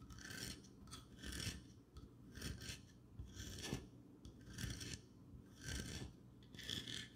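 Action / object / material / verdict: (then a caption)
scrape / ceramic figurine / ceramic / none. Long dark-painted nails scratch and rub across a medium-sized, cream-colored ceramic squirrel figurine, probably hollow, with a textured speckled surface, held in the hands. Rasping scrape strokes come in bursts about once a second, each a bright, hissy grind over a low, hollow rumble, separated by brief quieter pauses.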